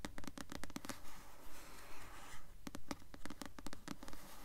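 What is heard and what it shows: A paperback novel, "Delirium", with a glossy paper cover, held upright, is tapped and scratched with long nails. Quick, dry taps, about 17 in all, come in two steady bursts with a low hollow tone near 280 Hz. Between them runs a stretch of soft, hissy scratching across the cover.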